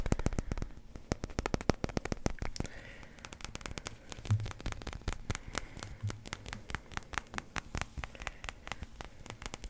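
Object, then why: Resin billiard ball. A small solid yellow numbered resin billiard ball is held in one hand and tapped with the fingertips and nails of the other. The result is a rapid, uneven series of sharp, dry clicks and taps with almost no ring, over a faint low rumble.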